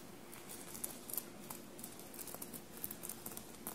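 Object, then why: Fabric shirt covered in metallic sequins. Long blue-painted nails tap a dark blue fabric shirt covered in small metallic silver paillettes, bunched on a table. Soft, scattered, bright clicks and light crinkles rise briefly over a quiet, steady low hum. Each tap dies away almost instantly.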